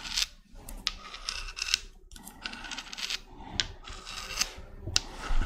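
Long red nails rub and scratch the surface of a small, hollow, white spiky spiral seashell with brown spots. Bursts of bright, dry rasping alternate with quick, sharp scratches and clicks over a soft low rumble.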